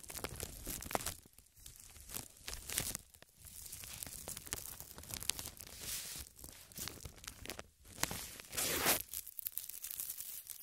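A large, thin, empty, transparent plastic bag draped over a tripod microphone is scratched, pinched and crinkled with long red nails. Bright, dense crinkling and rustling comes in irregular bursts with sharp crackles and brief quieter gaps, swelling to a louder crumpling stretch near the end.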